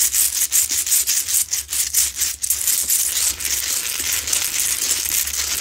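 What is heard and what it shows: Long nails scratch the sides of a medium, solid, rough Himalayan salt rock lamp while it is lit. The result is a bright, hissy, gritty rasp with almost no low end. Quick rhythmic strokes in the first half blend into steadier, continuous scraping.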